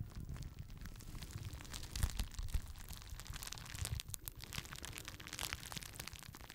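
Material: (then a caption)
Plastic. A small rectangular sheet of clear plastic bubble wrap is held in both hands close to a microphone while fingertips squeeze and pop the air bubbles and crinkle the sheet. A continuous close crinkling rustle is broken by sharp, bright pops and snaps, the loudest around the two-second mark, over a low, heavy rumble. Each pop dies away almost instantly.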